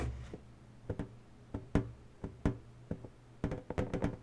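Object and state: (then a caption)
Latex balloon tapped with fingernails. Long natural nails tap and scratch the surface of an inflated, hollow pink latex balloon. Short, dull, hollow knocks with a low boom ring out irregularly between faint scratchy rustling, and the taps come faster toward the end.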